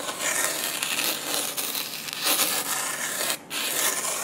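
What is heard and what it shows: A red plastic spoon held in the fingers rubs fine light-blue sand across the sticky surface of a flat, roughly A4-sized adhesive sand-painting sheet. The result is a steady, bright, gritty scraping hiss with almost no low end. It pauses briefly near the end before resuming.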